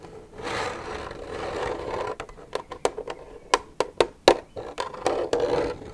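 Long nails scratch along the side of an empty, hollow plastic milk jug for about two seconds, making a dry, hissing rasp. They then tap it eleven times in quick, uneven succession. Each tap is a short, sharp click with a brief hollow knock centered near 500 Hz.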